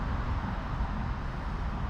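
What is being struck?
Nothing is struck.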